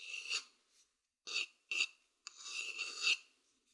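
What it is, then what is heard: Wooden bowl scratched with a stick. A thin wooden stick scratches the outer surface of a hollow, empty wooden bowl held close to the microphone. Four separate dry, raspy scraping strokes are heard: two short ones in the middle, between a longer stroke at the start and a longer one at the end. The sound is quiet, bright and hissy with almost no low end, and carries a steady whistling tone around 2.7 kHz.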